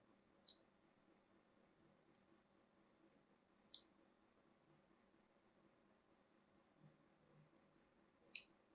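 A small metal blade cuts grooves into a cream-colored solid bar of soap, already covered in carved lines and held in the hand. Three short, bright, crisp clicks stand out, well spaced, against a very quiet background, each snapping off almost instantly.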